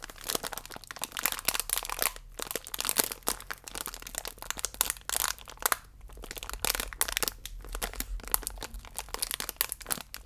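A thin plastic wrapper holding a single biscuit is held upright while fingertips and nails pinch and rub its edges. This makes dense, bright crinkling with sharp crackles and short pauses over a faint low hum. The sounds stop instantly, with no ring.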